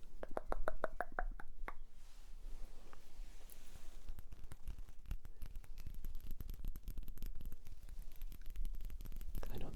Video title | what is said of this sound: [ASMR] My Cologne Collection | I know the tapping might be quite quiet because it's glass